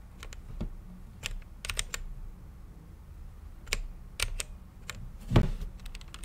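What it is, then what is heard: Mechanical keyboard with plastic keycaps. Fingertips type on a mechanical keyboard with plastic keycaps and a clear acrylic case. Short, bright clicking keystrokes come in an uneven rhythm, some in quick clusters and one louder strike near the end, over a faint steady low hum.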